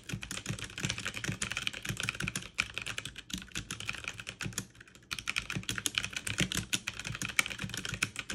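Both hands type fast on a backlit full-size mechanical keyboard with plastic keycaps, pressing the keys rapidly with fingertips and long painted nails. A dense stream of sharp, bright, clicky key presses is heard, with a brief lull just before the five-second mark before the rapid typing resumes.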